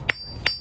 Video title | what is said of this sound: Mayan Mountain Jadite Jade & Honduran Black Matrix Opal Tucson Gem Show 2022 Red Lion Gem Show | the jade makes a like a metallic sound when you tap on it different from the other stones